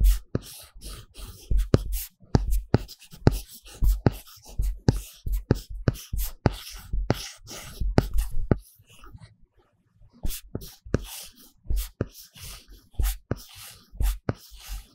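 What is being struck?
Tablet glass screen with paper-texture plastic film, drawn on with a stylus.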